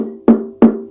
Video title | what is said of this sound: Concert Ukulele Unboxing to Help Others | When you tap it, you hear lots of resonance in there.